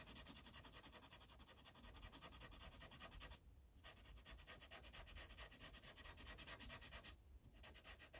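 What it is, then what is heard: Felt-tip marker colouring on paper. A yellow Sharpie marker's felt tip is rubbed in repeated back-and-forth coloring strokes across a thin paper coloring page resting on a clipboard. The result is a quiet, steady, bright scratchy rubbing with a soft low rumble underneath, briefly easing around 3.5 and 7.3 seconds before the strokes resume.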